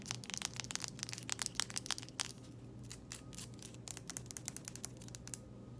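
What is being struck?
Small plastic jar with lid.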